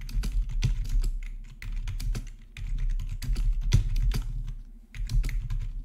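Fingertips tap on the black plastic backlit keys of a hollow-bodied RGB membrane keyboard. Quick, soft clicks and clacks come in steady bursts with brief pauses, each keystroke short and dull over a low, muffled thud.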